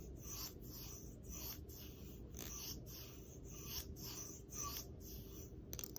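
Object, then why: Plastic hair comb. Long acrylic nails scratch and strum along the teeth of a long, hard, solid, flat black plastic hair comb. Quiet, bright, raspy scraping strokes repeat in a steady rhythm over a low background rumble.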